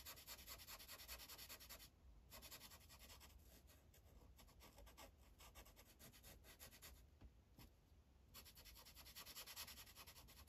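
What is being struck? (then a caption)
Felt-tip marker on paper sheet on clipboard. The felt tip of a green Sharpie marker is rubbed in quick back-and-forth coloring strokes across a thin paper coloring page resting on a clipboard. It makes a soft, bright, scratchy hiss with a low thump underneath. The strokes ease off briefly around two seconds and again between seven and eight seconds, then return more strongly toward the end.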